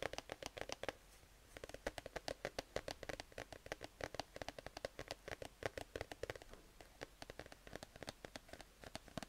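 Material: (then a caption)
Fabric, cardboard. A grey, cat-shaped plush sleep mask of soft fabric, attached to a cardboard header card, is scratched and rubbed with fingertips and nails. The result is a quiet, rapid series of short, dry scratching and tapping sounds with a brief pause after the first second. Each stroke is bright and papery and dies away at once.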